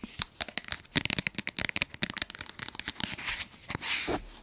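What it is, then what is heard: Plastic spray bottle. A tall, hollow white plastic spray bottle is held in both hands and tapped and rubbed with fingertips and nails. Quick, bright plastic clicks and crinkly scratches come in dense bursts. The clip ends in a longer hissing rub.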